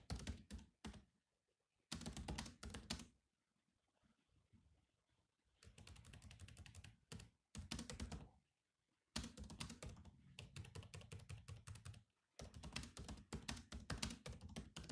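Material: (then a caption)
Plastic. Fingertips type on the black plastic keys of a grey laptop keyboard, making rapid, clicky taps with a thumpy low body and bright edges. The typing comes in bursts of many quick keystrokes separated by short quiet pauses.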